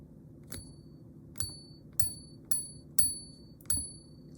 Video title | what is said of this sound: I bought 21 Ounces Of THIS Type Of Silver! Here's Why! | flip it on the little um back plate here like this to get a semblance of a ring